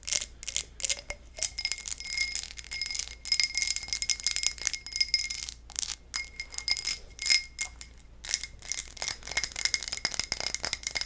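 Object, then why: Textured glass tumbler. A textured low-ball glass tumbler is tapped and scratched with fingernails, producing rapid, bright clinks and scraping bursts. The clinks leave a faint ringing in the high range, and the sound has almost no low end.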